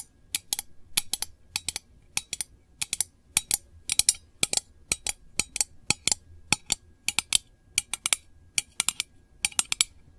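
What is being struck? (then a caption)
Small metal candle tin. Long nails rapidly tap the lid and textured side of a small, hollow, round printed metal candle tin held in both hands. The taps come in quick clusters of sharp, bright clicks centered around 3.1 kHz. Each click dies away almost instantly, with a faint low hum in the quiet between bursts.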